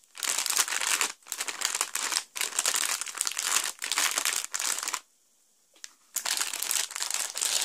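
A small, sealed, clear plastic Lego bag numbered 3, full of plastic bricks from the Two-Face Double Demolition set 70915, is pressed and rubbed on a carpet by both flat hands with the fingertips and palms. Its bright, dense crinkling comes in bursts separated by short pauses, with almost nothing below the highs. A longer near-silent gap with a faint tick follows before the crinkling resumes.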